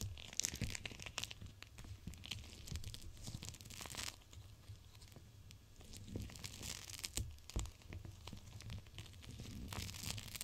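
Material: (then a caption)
Plastic. A palm-sized clear plastic gel cold pack full of teal beads is held with long nails and pressed and rubbed against glass. It makes continuous crinkling and crackling with sharp, bright ticks and soft squishing, over a low rumble that swells and fades in broad waves.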